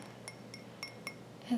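A small handleless ceramic teacup, matching a Japanese-style kettle with the same color and leaf pattern and painted matte black inside, is tapped five times. Each tap gives a light, short glassy clink with a bright ring that fades quickly over quiet room tone, and the last contact is louder and duller.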